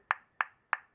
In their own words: when you tap fatwood you get that very dense sound